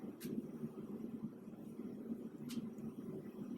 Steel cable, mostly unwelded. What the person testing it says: you get nothing because of the voids in that cable